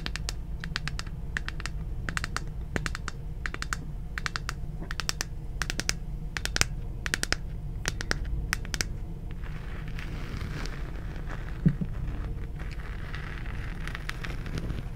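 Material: Plastic.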